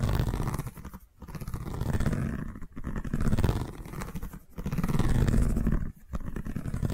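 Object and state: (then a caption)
Woven seagrass tube. A long cylindrical seagrass tube covered in woven straw weave is held in one hand and scratched with the long nails of the other hand. The result is a dense, low, rumbling scrape with little brightness, heard in five continuous stretches separated by brief gaps.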